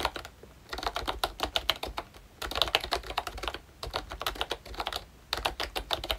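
Fingertips type on a pink plastic retro membrane keyboard with round keycaps and a hollow body, a ROYCHE Disney Mickey Mouse model. Bursts of quick, bright, clacky keystrokes come with short pauses between them. Each keystroke dies away almost at once.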